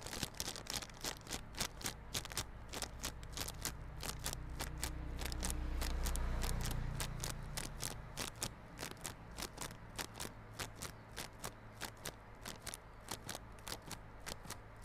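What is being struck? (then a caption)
Small cardboard box in plastic film. Fingernails scratch the clear plastic film wrapped around a small yellow cardboard Realme Buds Classic earphone box held on its side. They make rapid, crisp, crackling scrapes about four times a second, bright and dry. A low hum rises underneath and swells in the middle before fading back.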